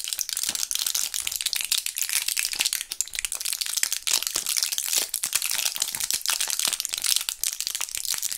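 Gloved fingertips flex and press a small clear plastic blister pack of Thrills gum with foil backing, still partly full of purple gum pellets. Dense, bright crinkling and crushing crackles run continuously, with many sharp, short snaps and no low end.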